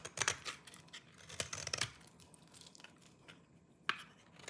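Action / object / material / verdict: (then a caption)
scrape / bar of soap scraped with a small knife / soap / none. A small orange-handled knife scrapes and shaves the surface of a solid, dry lime-green soap bar held in the fingers, and the shavings pile up below. The result is a run of dry, crisp, bright scraping crunches, loudest early on, quieter through the middle, with one last sharp scrape near the end.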